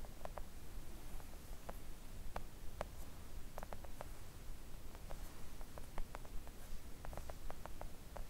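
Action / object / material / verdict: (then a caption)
tap / silicone mat tapped with acrylic nails / silicone / none. Long acrylic nails tap gently on a flat pink silicone nail art mat lying on a table. Soft, short, irregular clicks come in scattered clusters over a steady low rumbling background.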